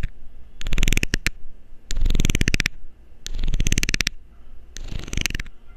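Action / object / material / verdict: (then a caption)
scrape / plastic screw cap scraped with a metal needle / plastic / none. A metal needle scrapes along the ridged edge of a loose, hollow blue plastic screw cap in four separate bursts. Each burst is a rapid run of dry, clicking ticks with a bright, crisp top over a low rumble, with short quiet gaps between passes.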